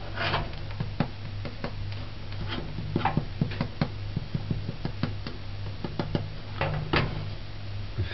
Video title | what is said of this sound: HARDOUGH BREAD JAMAICAN recipe | It feels hollow, but it feels kind of shallow